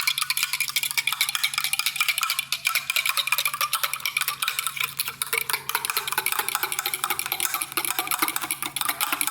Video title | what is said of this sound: Grandma Bowers' Soda Bread | mix this together until it starts to make a loud not allowed but a deep hollow sound you can hear it starting to get deeper